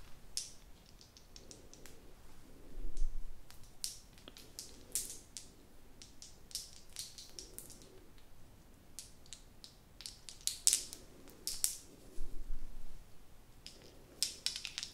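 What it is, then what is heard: Plastic novelty pen with ball topper. A small blue plastic novelty pen topped with multicoloured plastic balls is held close while long nails tap and scratch the balls and click the pen. Quick, bright plastic taps and clicks come in irregular bursts, with softer scratching rustles between them.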